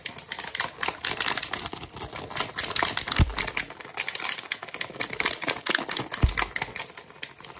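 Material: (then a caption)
Plastic. A clear plastic water bottle with a blue cap and label, hollow and partly filled with water, is held in both hands and tapped and scratched with fingertips and nails. Fast, dense, bright clicking taps blend with scratchy rustling, broken twice by short low thumps.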